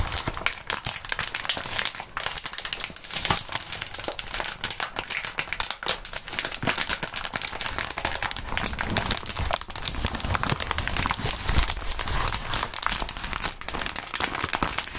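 Clear plastic bubble wrap is crumpled and squeezed by gloved hands and fingertips above a mat. A dense, continuous crinkling with many sharp, bright crackles and small pops runs steadily for the whole clip.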